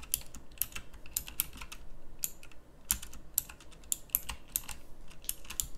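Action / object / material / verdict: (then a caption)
tap / plastic mechanical keyboard keys / plastic / none. Long-nailed fingertips type on a pink backlit plastic mechanical keyboard with round plastic keycaps. The result is a quick, uneven run of about two dozen sharp, bright clicks that die away almost instantly, over a faint low hum.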